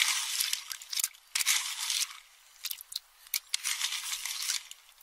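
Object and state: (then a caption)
Pistachio shells stirred in a metal bowl. A metal spoon stirs and crushes empty pistachio shells in a small, hand-held metal bowl full of them. Bright, crackly crunching and scraping come in irregular bursts with brief quieter pauses, and there is almost no low end.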